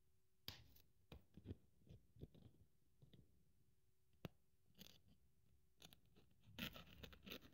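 A thin white polyethylene foam sheet, held above a pile of strips, is cut with a craft scalpel blade. The result is a quiet, irregular series of short, dry, scratchy crunches and scrapes, with louder bright bursts near the end. A faint steady low hum sits underneath for most of the clip.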